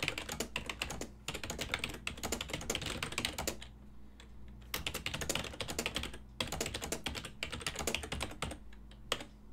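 Fingertips type continuously on a full-size black and silver ergonomic plastic desktop keyboard with keys over a hollow body. Rapid, bright plastic clicks come in bursts, with short pauses near 1 and 6 seconds and a longer lull near 4 seconds. A steady low hum sits underneath throughout.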